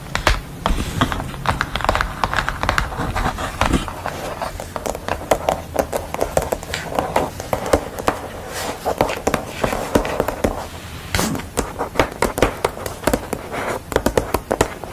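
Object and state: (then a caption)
Paper sheet tapped with fingernails. Long acrylic nails tap rapidly on a pencil drawing on a white paper sheet laid over a black mat board. Dense, crisp clicking taps run throughout with a low hum underneath and no speech.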